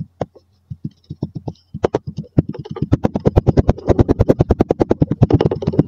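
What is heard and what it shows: A wooden dowel repeatedly presses and knocks down on layered yellow and maroon kinetic sand packed into a mostly full clear glass tumbler, compacting it. Short, dull, low thuds start sparse and irregular, then speed up into a quick, steady run of soft packing knocks with a faint grainy crunch.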